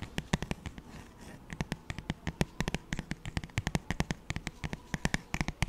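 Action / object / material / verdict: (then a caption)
tap / paperback book with glossy paper cover / paper / none. Fingertips and nails tap and scratch the thin, glossy paper cover of a paperback children's songbook held in one hand. A rapid, irregular series of short, dry taps, each with a soft low thump and a bright click, runs over a faint papery scratching. Every tap stops almost instantly with no ring.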